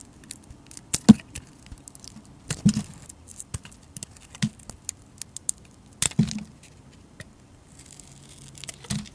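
A hand-sized solid white bar of soap is held in the hand and sliced and shaved with a metal utility blade, with flakes falling off. Short, crisp scraping and cutting strokes come at irregular intervals, each a brief dull thud with a bright, dry edge. A few stronger cuts stand out among the quieter shaving sounds.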